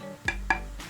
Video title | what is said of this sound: Guitar Body Made From Table (1940s Oak) | when i tap on it ... sounds like ceramic